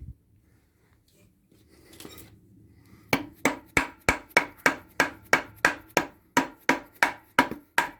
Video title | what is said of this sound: Toyota hilux surf Fitting new Brakes + brake lines + prop bearing | that's tapped all the way home now and like i said it's resting on its stop so you can hear the note change